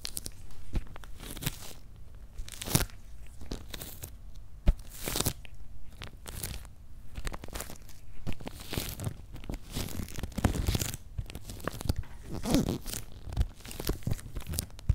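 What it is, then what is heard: Cardboard shipping box, tapped and scratched. Fingertips tap and nails scratch on the paper-labelled top of a medium, closed, hollow corrugated cardboard shipping box. Dull, low-heavy thuds mix with crunchy, crinkly scratching bursts that carry brief bright hiss. Each sound dies away almost at once.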